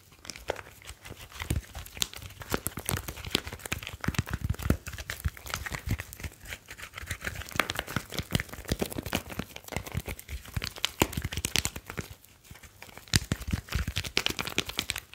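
A slim, solid smartphone with a glass screen and metal back is held in both hands while fingertips rub and tap across its glass and metal surfaces. The result is a steady, quiet stream of dry, crinkly rubbing with many quick, sharp ticks that carry a bright, high edge over a faint low hum.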